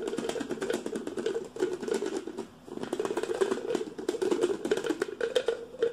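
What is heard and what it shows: A hollow, hand-sized stainless steel travel tumbler with a black plastic lid is tapped and scratched rapidly with fingertips and nails. Quick, dense clicks and scrapes ring with a steady metallic tone around 390 Hz, with bright scratchy detail above it. The sound fades only briefly around the middle before the fast tapping resumes.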